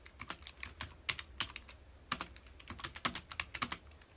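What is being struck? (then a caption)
Plastic computer keyboard. Fingertips of both hands rapidly press the keys of a full-size black plastic computer keyboard resting on a dark desk, producing about 22 quick, crisp clicking taps in uneven bursts. The taps are bright and short with almost no ring, centered around 2.2 kHz and with little low end.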